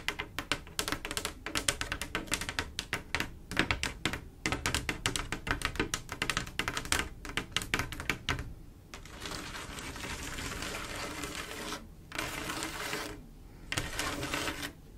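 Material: Glass.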